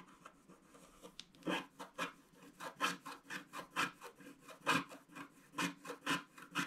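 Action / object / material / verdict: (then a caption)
scrape / wax-coated scratch-art card scraped with a wooden stick / wax-coated card / none. A wooden stick scratches the black wax coating around a ship on a flat scratch-art picture card, a thin solid sheet lying on a table. Short, dry, rasping scrapes come in an uneven series of bursts, each with a bright, papery grit and very little low end.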